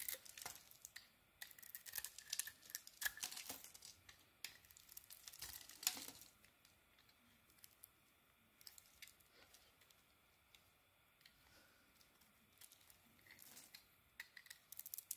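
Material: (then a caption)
Soap. A small metal blade shaves an oval bar of soap with a dark coating, exposing its white interior. Crisp, bright scraping and crumbly cutting sounds come in dense bursts for the first six seconds, then thin out into quieter, scattered shaves over a soft, hushed background.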